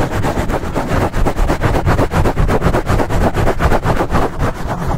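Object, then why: Foam microphone windscreen. Fingertips scratch fast and aggressively at a black foam windscreen over a microphone, working from both sides. The result is a dense, continuous rush of rough scraping and muffled rumbling, heavy in the low end, pulsing at roughly four strokes per second.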